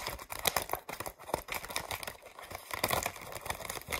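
Long acrylic nails quickly tap and scratch across the ridged surface of a thin white vacuum-formed plastic tray of false eyelashes, with hollow molded cavities, held upright. The result is a dense run of sharp, bright plastic clicks and crinkly scratching with very short decay and almost no low end.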